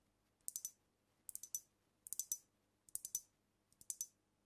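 Long nails tap and click on the glass body and neck of a filled glass cognac bottle holding amber liquid, held close to the mic. Five short bursts of about three quick, bright, high-pitched clicks each arrive at uneven intervals, each tap dying away almost instantly over a quiet background.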